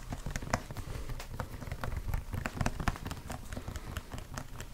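Fingertips and short nails rapidly tap and scratch over a large, hollow white plastic E45 lotion pump bottle, probably partly full, held in both hands close to the microphone. The result is a dense, irregular patter of soft, low, hollow thuds with brief bright clicks.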